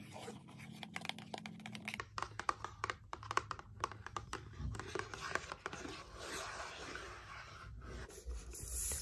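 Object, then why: Cardboard box. Long painted nails tap and scratch across a closed, grey printed cardboard box lying flat. A run of quick, dry clicks and taps mixes with scratchy rubbing on the surface, with a faint low hum underneath.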